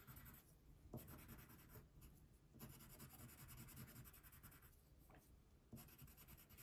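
A brown wax crayon colors a thin paper coloring sheet resting on a table, making short, dry scratching strokes. The rough scraping rises and falls in bursts, with a low body under a bright, papery hiss.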